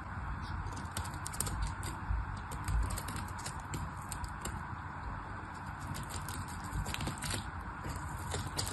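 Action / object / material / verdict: scrape / soap bar scraped with a small knife / soap / none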